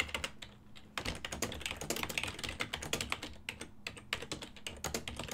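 A full-size ergonomic silver and black plastic desktop keyboard with hollow key switches is typed on quickly with the fingertips. It makes a fast, continuous run of short, bright, hollow plastic clacks that die away almost instantly, with a brief lull before the typing picks up again.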